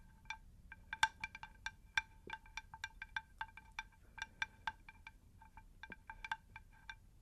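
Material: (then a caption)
Terracotta. A round, unglazed terracotta plant saucer, about 20 cm across, shallow and rigid, is held upright and tapped on its underside with long pink nails. An irregular run of quick, light taps each gives a short, bright, chime-like ring pitched near 890 Hz, fading almost at once over a faint low background hush.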